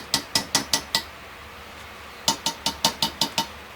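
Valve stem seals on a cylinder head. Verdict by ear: Seated.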